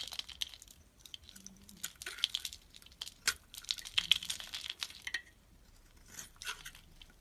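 A utility knife blade shaves and scrapes thin curls off a hand-sized, solid orange bar of soap that is white inside and held in the palm. The result is a run of crisp, dry scraping and crackling strokes, mostly high and bright, with short sharp peaks separated by quieter pauses.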